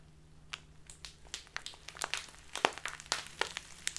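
A small, flexible, clear plastic tea bag with a paper Biotta label, full of loose dried tea, is held upright in both hands and squeezed and crinkled with the fingertips, which have long black-painted nails. Irregular, sharp, bright crinkles and crackles snap out one after another over a faint low hum.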